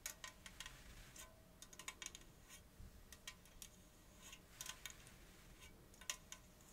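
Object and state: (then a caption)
Aluminium drink can. Long acrylic nails tap rapidly on the side of a gold 330 ml Diet Coke aluminium can that appears unopened. The result is a quiet, irregular run of bright, clicky ticks with very short ring and little low end.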